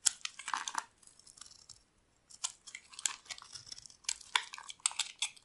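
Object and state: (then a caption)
Dry soap bar being carved. A metal blade scrapes and carves flakes off a solid, rectangular, dry white bar of soap held in the hand. The result is quiet bursts of crisp, bright, crackling scrapes with no low end, broken by a brief near-silent pause around the two-second mark.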